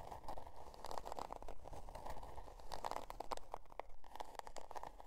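Long dark nails scratch the scale-pattern cardboard cover of a spiral-bound notebook resting on faux fur, making quiet, dry scraping strokes in an uneven rhythm. Each short rasp carries a mid-range edge with brief bright ticks, over a soft low rumble, and stops dead with no ring.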